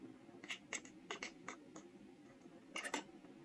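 A steel carving knife cuts and scratches engraved characters into a small, solid, square soft stone seal block held in the hand. Short, dry, bright scraping strokes come in quick bursts over a faint hiss, ending in a denser cluster of sharper scratches.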